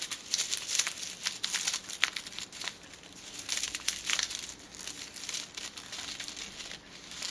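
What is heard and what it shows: A small white printed paper silica gel sachet, held in the fingertips, is crinkled and rubbed with the fingers and long teal nails. The result is a bright, dry crinkling and rustling with quick crackly snaps that swell and fade throughout, with almost no low end.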